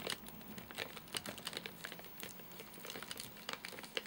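Fingertips and nails tap and scratch the top of a full, flat rectangular Soft Nougat bar in a crinkly plastic wrapper. The result is a quiet run of quick, bright crinkles and clicky taps with scratchy rustling between them. The sound has almost no low end, and each tap dies away almost at once.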